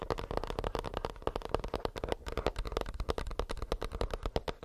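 Fingernails tap quickly and steadily on a plastic earbuds case, making a long run of short, dry clicks with a faint hollow tone around 460 Hz. Each tap stops almost at once, with a soft low thump underneath and little bright content.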